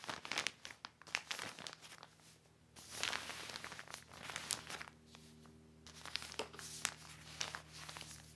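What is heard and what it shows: Fingertips press and smooth a large, thin, black glossy plastic sheet cover spread flat, making dense, bright crinkling and crackling. The crackles come in bursts with brief quieter stretches between them. A faint steady low hum sits underneath.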